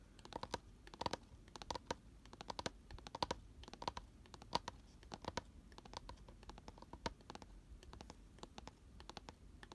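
Fingernails of both hands scratch and tap the inner walls of an open, empty, round cardboard box lying on its side and lined with white paper. Quick, dry clicks and scratchy rustles come in an irregular stream with almost no ring, some taps carrying a faint tone near 950 Hz.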